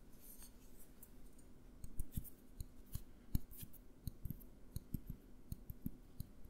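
A small clear glass jar with a green label and lid is tapped with the fingertips while being turned in the hands. The result is a quick, irregular series of soft, short, dull taps, mostly low thuds with faint bright ticks, over quiet background hiss.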